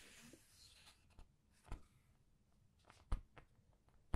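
Paper pages of a large art book are turned and squeezed with the nails, producing a quiet, soft rustle. Several brief, sharp paper clicks and crinkles stand out at uneven intervals, with a stronger snap at the very end.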